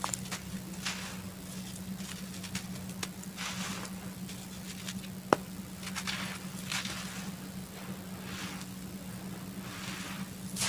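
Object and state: Dry laterite soil clod, crumbling.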